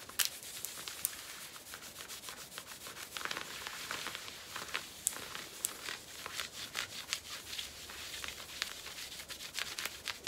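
Long nails scratch and rub the surface of worn black cotton denim jeans at the hip, making a dry, sanding-like rasp. The sound is a steady, bright hiss with many quick, sharp scratchy ticks scattered through it and almost no low end. It stays fairly quiet throughout.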